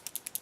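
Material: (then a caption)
Plastic. A L'Oreal felt-tip liquid eyeliner pen is shaken, and the little mixing ball inside rattles in five quick, bright clicks. Shaking it is intended, and it makes the liner go on blacker instead of grayish black.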